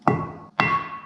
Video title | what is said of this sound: 【仕事辞めて日本一周ツーリング Part15 福島県】UFOふれあい館【モトブログ旅（リメイク）】 | 軽く叩いてください。金属音がします。